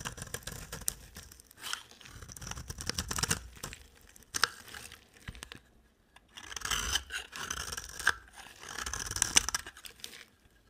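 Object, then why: Bar of soap scraped with a blade. A utility knife blade scrapes curly shavings off a solid, cream-colored rectangular bar of dry soap held in the hand. The result is bright, dry, crunchy scraping in short bursts separated by brief pauses.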